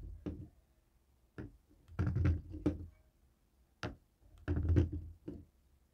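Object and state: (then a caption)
Plastic TV remote. A jade roller head taps and rolls over the buttons of a dark grey plastic cable TV remote resting on a wooden table. Short, dull, low clicks and knocks come in irregular bursts, some clustered into brief rattling rolls, with quiet pauses between them. Each tap dies away almost instantly.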